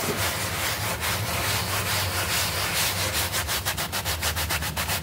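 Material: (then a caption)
Plastic turf. A hand brush is scrubbed back and forth across a small, flat, green synthetic turf doormat covered in soap foam while the other hand holds the mat in place. A continuous bright, bristly scrubbing fills the clip over a steady low hum, turning into quicker, distinct back-and-forth strokes in the last two seconds.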